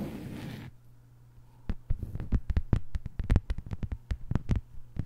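A thin, flat green plastic cutting board lying on a table is tapped with the long white nails of both hands. After a brief burst of broadband noise and a quiet pause, a quick, uneven run of short, dry clicks begins at about 1.7 seconds and continues to the end. A steady low hum sits underneath throughout.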